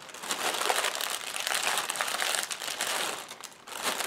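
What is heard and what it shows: Fingertips and long painted nails press, tap and scratch across a long strip of clear, hollow, inflated polyethylene air-pillow packing cushions lying on a white table. The result is a steady, bright crinkling and rustling of plastic, dotted with small crisp ticks and scrapes and almost no low end.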